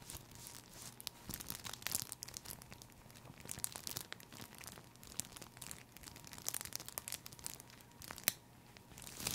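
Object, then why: Thin plastic cellophane sheet. A thin, crinkly sheet of green cellophane wrapping, folded and hollow, is held in one hand and crumpled and rubbed with the fingertips up close. It produces a quiet, continuous stream of bright, crisp crackles and rustles that swell and ease throughout, with a sharper snap near the end.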